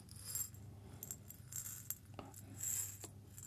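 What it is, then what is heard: Mostly empty glass jar. A small, mostly empty clear glass jar is held in one hand and tapped or scratched with the fingertips and nails of the other. Quiet, bright clicks and brief glassy scrapes come at irregular intervals, each dying away almost at once over a soft low hum.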